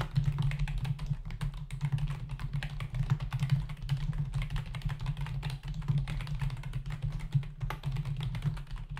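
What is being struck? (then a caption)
Plastic computer keyboard. Fingertips of both hands type rapidly on a full-size black plastic membrane keyboard with hollow keys resting on a dark desk. A dense, continuous stream of short, light key clicks and taps is heard, with a steady low hum underneath.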